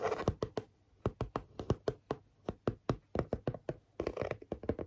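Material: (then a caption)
Cardboard. Long fingernails tap and scratch the face of a flat grey chipboard panel with a pink stitched border, held in both hands. A steady run of short, dry taps with a dull low thump and almost no ring is heard, with soft scratchy rustling at the start and a denser flurry of taps and scratches near the end.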